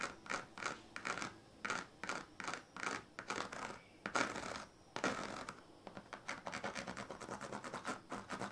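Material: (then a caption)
Plastic. A pink plastic comb held in the fingers is scratched repeatedly along the ridged surface of a partly rolled woven plastic-strip sleeping mat. It makes a fast series of dry, raspy, clicking scrapes that are bright and thin, with almost no low end. The strokes come in short bursts, pause briefly midway, then return in a quicker, steadier run.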